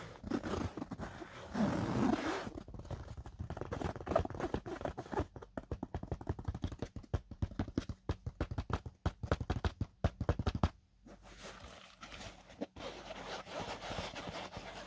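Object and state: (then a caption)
Fabric-covered drone case, scratched and tapped. Fingertips and short nails of both hands scratch and tap the flat lid of a closed black semi-rigid drone carrying case, a hollow molded foam (EVA) shell covered in textured fabric that holds the drone and controller. Soft, dull scratching and rubbing gives way to a fast run of muffled, low taps, then a brief pause and quieter, steady scratching to the end.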